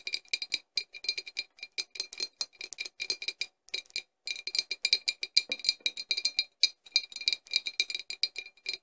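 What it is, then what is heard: Embossed glass bottle tapped with nails. A clear, embossed glass flask with a cork stopper, hollow and empty-looking, stands upright and is tapped with the long nails of both hands. About fifty quick, bright clicking taps come in rapid, irregular bursts, each with a thin glassy ping and almost no ring. There are short pauses near 1.7 and 4 seconds, and there is no low end at all.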